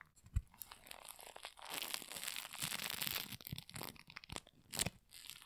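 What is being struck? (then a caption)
Sticky floam of polystyrene foam beads. Gloved hands pull apart and tear a handful of sticky pink floam, a solid mass of tiny polystyrene foam beads. Bright, crackly tearing and crunching run in dense bursts, with a sustained stretch of crackle in the middle and sharp pops near the start and end.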